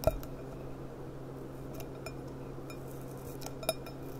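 Long dark nails tap and click across the thin, clear bowl of an empty gilt-rimmed glass goblet held on its side. Two louder taps stand out at the start and near the end, ringing briefly around 630 Hz, with quieter clicks in between. A low, steady hum runs underneath throughout.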